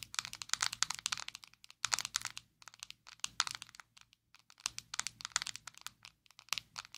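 Long acrylic nails tap and scratch a small, square, black plastic Maybelline Fit Me loose powder jar, hollow and filled with powder, held in both hands. Rapid bursts of sharp, bright clicks and crinkly scratching come in dense clusters with brief pauses. Each tap dies away almost instantly, with no low-end body.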